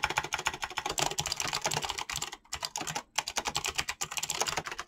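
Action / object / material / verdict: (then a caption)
tap / mechanical keyboard with plastic keycaps / plastic / none. Fingertips with short painted nails type fast on a full-size Razer mechanical keyboard with clicky green switches and pink-blue dyed PBT plastic keycaps, resting on a desk. A rapid stream of sharp, bright clicks with very short decay runs almost nonstop, with two brief pauses near the middle.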